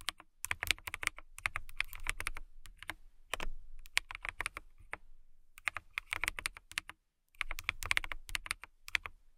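Long nails type on a clear acrylic mechanical keyboard with transparent, RGB-lit keycaps, making bursts of quick, bright, clacky taps with a low thock underneath. The short key strikes die away instantly, with brief pauses between runs of typing and a near-silent gap near the end.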